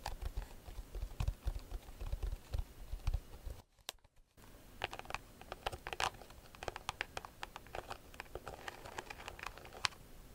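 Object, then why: Round woven rattan bag. A round, hollow, rigid woven rattan bag is held in both hands while long nails tap and scratch its woven face. The result is dry, crisp clicks and scratchy ticks with a low thumpy undertone in the first half. After a brief near-silent gap, the sounds return as brighter, sparser taps.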